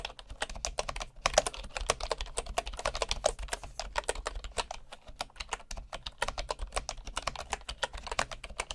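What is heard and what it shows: Fingertips of one hand type rapidly on a bamboo wood computer keyboard with wooden keycaps. The result is a steady stream of short, dry, clicky taps with a mid-range woody knock, a bright edge, and a faint low background hum.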